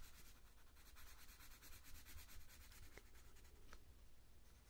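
A hand shades a thin paper colouring book page with a purple coloured pencil in firm rubbing strokes. A quick, steady back-and-forth scratchy rubbing is heard over a low, dull rumble, with a bright papery hiss riding on each stroke and no clear pauses.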